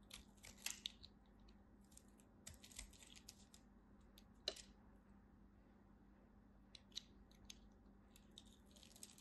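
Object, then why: Bar soap. A knife scrapes and cuts along the edge of a dry, solid purple striped soap bar, shaving off crisp flakes. Short, bright, crunchy scrapes and crackles come in irregular bursts over a quiet background with a faint steady low hum.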